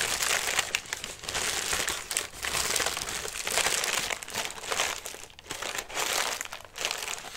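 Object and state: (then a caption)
Collapsed paper lantern. A hollow lime-green tissue paper lantern, folded flat and held in both hands, is scratched and pressed by fingertips and nails across its thin paper surface. The result is a dense, bright crinkling and crackling that swells and fades in repeated waves, with almost no low end.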